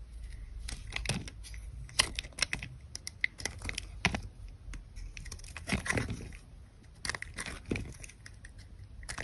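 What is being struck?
Bar of soap.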